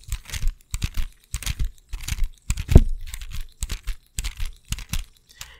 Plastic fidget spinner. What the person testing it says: what you mostly hear is not the fact that there's something loose inside of the spinner because there isn't it's just this plastic it tends to be quite noisy